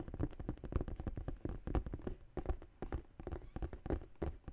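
Long nails tap and scratch the side panel of a large tan faux leather tote bag. The result is a quick, uneven run of dull, low, muffled taps, each dying away almost at once, with soft scratchy rustling between them.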